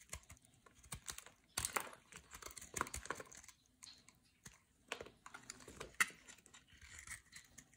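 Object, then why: Solid bar soap cut with a metal blade. A metal blade carves and scrapes flakes and chunks from the face of a solid white bar of soap held in the hand. Quiet, dry, crunchy scraping and crackling comes in short bursts with brief pauses, with sharp bright snaps standing out now and then.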